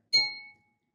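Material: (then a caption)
Glass. A wine glass holding only a small amount of water is tapped once, gently, with a pencil, making the glass and the water inside vibrate. It gives a bright, high clink that rings with a lower tone near 2.2 kHz, then fades out in about half a second.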